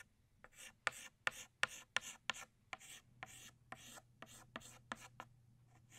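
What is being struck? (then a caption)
Chalk stick on a chalkboard. An orange chalk stick traces and shades the small center of a flower on a flat black chalkboard. A quick series of about a dozen short, bright, scratchy strokes taps and rasps across the surface, each ending abruptly with a dry, gritty hiss. A faint low hum sits underneath.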